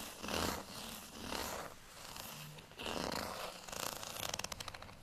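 Fingernails scratch across the bumps of a small, solid beige plastic rice paddle with a textured surface. Soft, hissy scratching comes in several rising and falling swells, then turns into a quick run of bright, rattling ticks.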